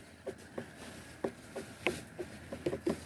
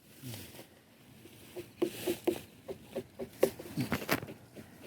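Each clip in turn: First: About ten quick, muffled hand taps around 350 Hz, each dying at once; ripe watermelons. Second: A quick run of dull hand taps on a watermelon, low and muffled with no ring: overripe.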